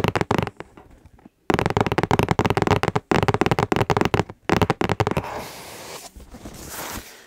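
A hollow, medium pink cardboard gift box is held upright, with fingertips resting on its sides, and its surface is tapped and scratched again and again. Quick, dull, hollow taps come in dense bursts with brief pauses. Softer, continuous scratching and rubbing on the cardboard follows.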